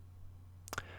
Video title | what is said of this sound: My First Mechanical Keyboard - VELOCIFIRE TKL02WS | it happens because of the metal base the board is built on